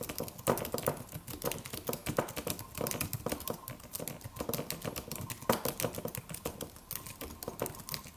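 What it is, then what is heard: Aluminum keyboard with plastic keys being typed on. Fingertips of both hands type steadily on a slim silver aluminum computer keyboard with white plastic keys and a solid low-profile body. The keystrokes come as a dense, continuous stream of quick, dry clicks and taps with very short decay.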